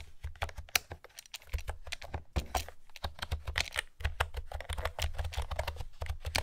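Fingertips with long nails type steadily on a light blue plastic retro keyboard with pastel, round typewriter-style keycaps and a hollow housing. Rapid, uneven streams of bright, clicky key taps ride over a soft, low hollow thud, and each tap stops dead with no ring.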